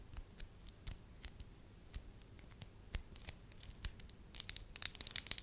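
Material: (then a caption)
Wax. A small solid lump of soft beige wax, held in the fingertips, is tapped and scratched with long lavender acrylic nails. Quiet, bright clicks and light scratches fall at an uneven pace. They grow denser and sharper toward the end, with crisp high ticks on each contact and no ring after.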